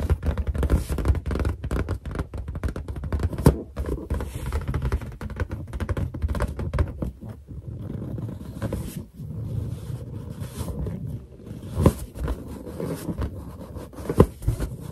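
Long nails and finger pads tap rapidly on the surface of a large, hollow, inflated white latex balloon held in both hands. The result is a steady stream of dull, low, drum-like thumps with short scraping brushes between them and almost no ring after each tap. A few sharper taps stand out above the rest.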